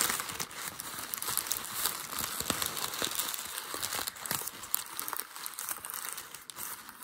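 A light grey ball of crumpled packing paper on a white desk is crumpled and scrunched by one hand using fingertips and short nails. It makes a steady, dense crinkling with sharp, bright crackles and almost no low end, continuing for about seven seconds.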